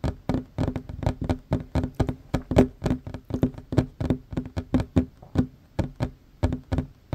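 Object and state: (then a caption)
Wooden tabletop. Both hands fast-tap a flat, solid wooden tabletop with a worn varnished surface, using short fingernails and fingertips. A rapid, uneven stream of dry knocks with a low woody resonance around 250 Hz, each tap dying away almost instantly, with faint bright clicks from the nails.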